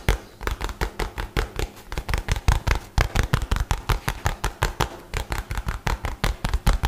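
A light blue nylon bag, rolled into a tube and held upright, is rubbed and scratched quickly with fingertips and nails. The result is a rapid, steady run of 34 short, dull, bass-heavy scuffing thumps, each with a brief crisp rustle that dies away almost at once.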